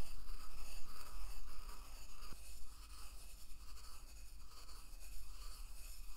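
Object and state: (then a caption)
Wooden mortar and pestle grinding salt. A wooden pestle crushes and rubs salt inside a hollow carved wooden mortar held at waist height. It makes a quiet, steady, gritty grinding that scrapes in a loose rhythm of about three strokes per second, with one brief sharp click partway through.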